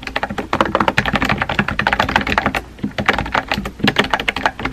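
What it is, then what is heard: Plastic mechanical keyboard. Fingertips with painted nails type rapidly on a compact pink plastic mechanical keyboard with round white-and-pink typewriter-style keycaps and a hollow body, resting on a desk. A fast, uneven stream of short, sharp clacks sounds with a hollow mid-range body and a little bright click, each tap dying away almost at once.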